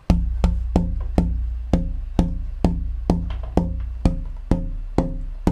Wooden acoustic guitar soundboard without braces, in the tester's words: beautiful loose um unhindered sound of a vibrating guitar top